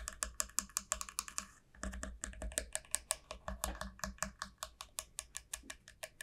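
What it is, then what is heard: Dried gourd shell tapped with fingernails. Long nails tap rapidly along the hollow, hard shell of a long club-shaped dried gourd. Dozens of quick, dry, bright clicks fall in a steady patter and stop dead with no ring, with a brief stretch of fuller, lower hollow thumps partway through.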